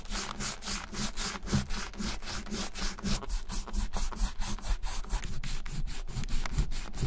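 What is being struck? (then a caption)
Leather wallet rubbed with a rubber eraser. A white rubber eraser block held in the fingers is rubbed hard back and forth over a small, closed brown leather bifold wallet resting on a white surface, leaving eraser crumbs. The result is a rapid, steady run of raspy scrubbing strokes with a bright hiss on each pass over a low, dull rumble.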